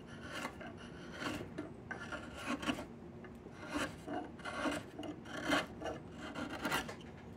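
A chisel scrapes along the length of a long, solid diamond willow stick, stripping its bark. The strokes come as repeated rough, rasping scrapes about once a second, each a brief brighter burst over a steady hiss that fades quickly between strokes.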